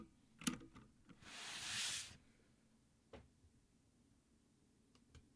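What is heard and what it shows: Fingertips type and tap on a Havit full-size backlit mechanical gaming keyboard with black plastic keycaps on a metal top plate, resting on a dark desk. A few sparse, sharp switch clicks are separated by quiet gaps. Early on there is a soft, bright hiss that swells and fades over about a second.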